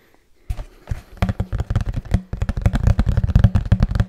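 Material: Cardboard.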